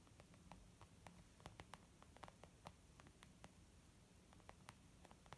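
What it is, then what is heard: Leather makeup bag. Fingertips and nails of both hands tap quickly on a soft, flat, white textured leather zip makeup pouch. Short, sharp, bright clicks land in a quick, uneven patter over a quiet low rumble, each dying away almost instantly.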